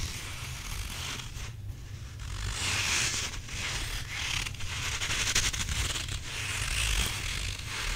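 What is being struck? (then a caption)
Rubber squishy toy. Fingertips and nails scratch and rub the surface of a hand-sized grey stretchy rubber squishy possum toy that appears to have a gritty filling, while hands squeeze it close up. The result is a steady, bright, dry scratching and crackly rustle that swells and fades in waves over a low rumble.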